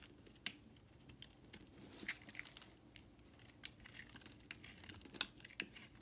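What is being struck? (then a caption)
Bar of soap cut with a knife blade. A utility knife blade carves and chips shavings and chunks off a solid white bar of soap held in the hand. Soft, scattered scraping and crisp, bright clicking snaps sound over a faint hiss. Each cut dies away almost instantly.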